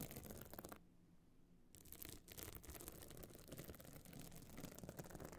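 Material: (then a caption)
Stone chips. Long nails scratch the surface of a small, hard, pebble-encrusted metal-frame clutch bag covered in glued stone chips and standing open. Dense, gritty, bright scratching fills the clip, with a brief quieter pause early on where only a low hum remains before the rough, irregular scraping resumes.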